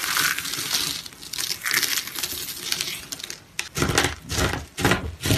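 A heap of brown, dry, brittle grated soap strands on a mesh mat is scooped, rubbed and crumbled by hand with the fingertips. The result is a dense, bright, crisp crunching and crinkling that runs almost continuously, dips briefly, then returns as louder, fuller crumbling bursts.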